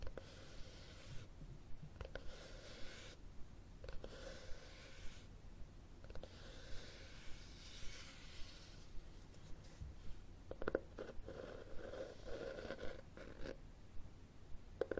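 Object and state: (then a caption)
Cloth-covered hardcover book, scratched. Fingernails scratch along the cover and spine of a red, textured cloth-covered hardcover book held horizontally. The result is a quiet, dry rasping with a faint mid-pitched tone, broken by about 16 short, sharp scrapes at a loose, uneven pace.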